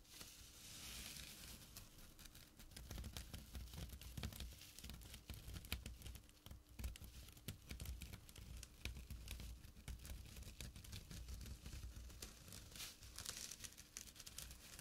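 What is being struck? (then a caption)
Small burlap drawstring pouch. Fingertips and short nails scratch a small, flat burlap pouch with a drawstring. The result is a continuous run of rough, crackly scratching with dense fast clicks and bright rasping hiss over a low rumble, with no pauses.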